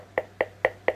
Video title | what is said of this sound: Trash to Treasure, Upcycled Box, no Warping and No Wrinkle Napkin Decoupage Tips | I mean it sounds like wood